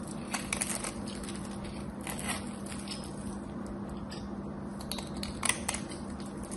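A craft knife scrapes the edge and face of a solid cream soap bar with a gold rim, producing soft, crisp scratching and crackling with a few brighter clicks, sharpest near the end. A steady low hum around 200 Hz runs underneath throughout.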